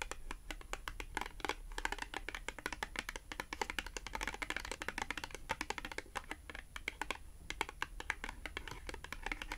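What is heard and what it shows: A small, thin, flat, solid cream cardboard H&M "Slim fit" clothing tag, held upright in both hands, is rapidly tapped and scratched with long acrylic nails. The result is a dense stream of crisp, bright clicks and dry scratching that stop almost instantly, over a faint low hum.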